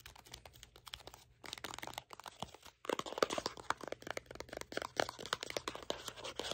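A small, hollow, empty-looking printed red and green cardboard superfood cleanser box is held in both hands and tapped and scratched with short fingernails and fingertips. Quick, dry, papery taps and scratchy crinkles come in a dense stream, with brief pauses near 2 and 2.7 seconds. The second half grows louder and busier.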